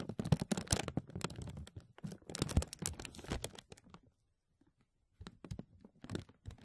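A large, thin, clear plastic vacuum-seal bag with an embossed grid pattern, pulled over a mesh mic dome, is rubbed and scratched by fingertips and nails. Dense, bright crinkling and scratchy rustles run for about four seconds, fade to near silence, then return as sparser crinkles and scratches.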